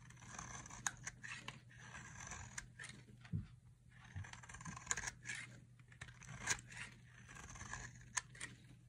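A solid pink-and-white striped dry soap bar, held in the hand, is carved with a metal utility knife blade into fine shavings. Repeated dry, bright scraping strokes with sharp crisp peaks sit over a low steady hum. No verdict is given on the soap's condition beyond it being dry.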